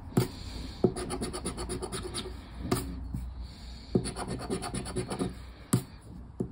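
A thin cardboard paper lottery scratch-off ticket lying flat on a wooden table is scraped continuously with the edge of a black plastic disc. The clip is a steady, dry rasping with rhythmic scratchy strokes, several sharper ticks and a low tabletop rumble underneath.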